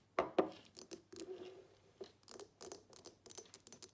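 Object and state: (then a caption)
Glass perfume bottle. Long nails tap and scratch a small square glass perfume bottle with a black cap, partly filled with liquid, on both the glass and the cap. Two bright, sharp clicks come first, followed by a run of quieter, dry taps and brief scratches. Each sound dies away almost at once.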